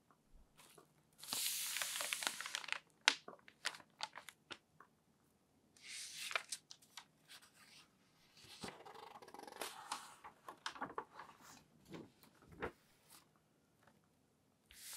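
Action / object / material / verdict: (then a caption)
scrape / newsprint newspaper sheets / paper / none. Fingertips and palms smooth and rub the thin newsprint sheets of a large open Seattle Times newspaper lying flat on a white table, then turn a page. Bright, dry rustles and crinkles come in bursts with sharp papery ticks between them, and a long sweeping swish occurs early on. The sound has almost no low end, and each tick stops abruptly.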